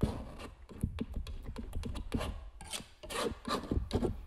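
A metal palette knife scrapes gel medium along the edge of a stretched canvas print in a quick series of short, rough strokes. Each pass gives a dry, papery rasp with a soft, low thud, fading fast between strokes.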